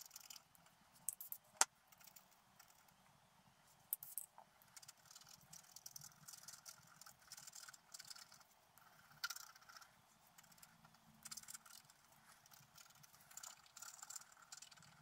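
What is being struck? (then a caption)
Coated scratch-art paper sheet scraped with a wooden stylus. A wooden stylus scratches the coating of a flat black coated scratch-art paper sheet resting on a table, with few distinct onsets. It makes quiet, bright, dry scratching and faint rasping strokes, broken by a few sharper ticks near the start.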